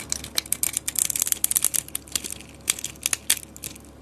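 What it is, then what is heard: Bar soap being carved. A blade cuts small cubes from a solid white bar of soap held in the hand, and the pieces crumble off. The result is a rapid series of crisp, bright crunches and crackles with almost no low end, each snapping off short with no ring.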